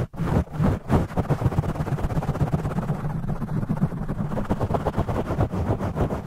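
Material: Foam.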